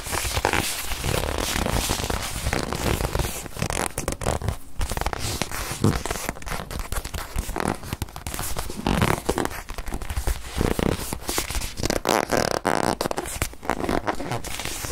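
Long nails scratch and squeeze a small white padded faux-leather watch pillow, making continuous creaky, rubbing and crinkling sounds with dense, rapid scrapes and a heavy low-end thump for about 15 seconds.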